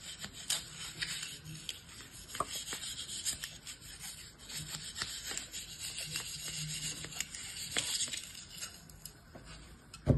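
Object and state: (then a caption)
Kinetic sand scraped with a blade. A metal utility-knife blade scrapes and cuts across the surface of a bear-shaped block of beige kinetic sand packed in a yellow plastic mold held in one hand. It makes a steady, bright, crunchy gritty scrape scattered with sharp little ticks. A louder crunch lands right at the end.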